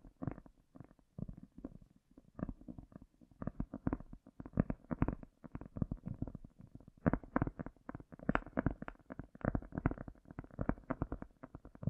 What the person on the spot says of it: tapping and lightly scratching a cork with the echo effect in full power